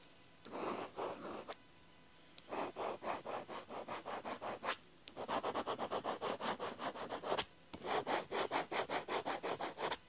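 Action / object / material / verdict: scrape / ballpoint pen on paper diary page / paper / none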